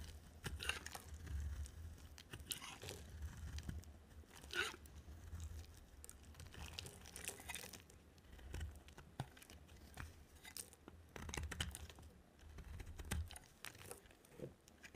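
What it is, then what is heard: Dry soap bar being scraped. A solid yellow bar of dry soap, held in a hand with long black nails, is scraped with a utility knife blade. Dry, crunchy, crinkling scrapes come in uneven bursts with bright, gritty edges over a steady low hum.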